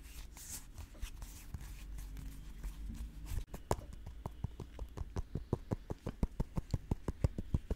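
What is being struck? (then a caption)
Whole custard apple with bumpy skin. Long nails scratch and tap a whole, solid, fist-sized green custard apple (sugar apple) with bumpy scaled skin, held close to the microphone. For the first few seconds, soft scratchy rubbing sits over a low rumble. After a brief pause, a quick, uneven run of short, dull, bass-heavy taps follows, with clicky bright edges.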